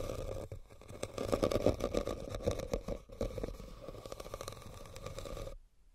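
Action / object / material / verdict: scrape / woven rattan basket / rattan / none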